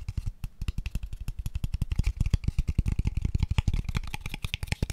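Fingertips and nails rapidly tap a small, hollow, empty, pale wooden square tube box, making about 39 quick, dry knocks over five seconds. Each tap is a short, deep hollow thud with almost no ring, with faint bright clicks from the nails on top.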